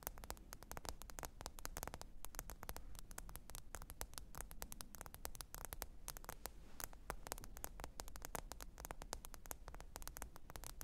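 Long pointed acrylic nails tap and scratch rapidly across the glass screen of a small, thin black smartphone lying flat, screen up, on faux fur. A dense stream of quiet, sharp clicks with bright edges rides over a steady low rumble, each tap dying away almost instantly.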